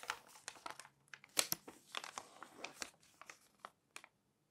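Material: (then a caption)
Coated paper. Thin coated pages of a thick glossy fashion magazine lying open on a white table are lifted, flipped and smoothed down with long manicured nails and fingertips. Quiet, bright crinkles and rustles come in quick, irregular bursts with almost no low end, and each one stops sharply, leaving short silences between.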